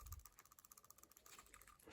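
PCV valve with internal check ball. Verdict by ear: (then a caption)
Freed. A PCV valve from a Nissan Armada, Titan, Infiniti QX56 or QX80, cleaned with throttle body cleaner or solvent, is shaken so its check ball rattles inside. About a dozen quick, light ticks are heard in a steady rhythm, showing the valve is freeing up and working normally.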